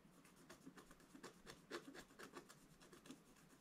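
A wooden scratch stylus scratches and rubs strokes into the black coating of a solid scratch-art page in a book lying flat on a table. Quiet, dry raspy scrapes repeat at an irregular pace of about two per second, each with a brief bright hiss and no ring after.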